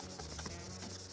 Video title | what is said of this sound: HoroScare Tarot | ça chante un petit peu, c'est l'effet mat